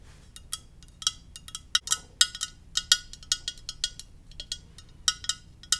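A Darth Vader ceramic mug is tapped gently in an uneven series of about twenty light taps. Each tap gives a bright, high clink with a pitch near 3750 Hz that dies away almost at once, over a quiet background with almost no low end.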